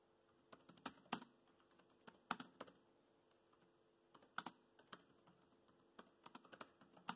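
Fingertips of both hands type on a laptop keyboard with black plastic keys, tapping out short, crisp clicks in irregular bursts. The keystrokes sound quiet and dry with almost no ring. A brief pause falls in the middle, all over a faint steady background hum.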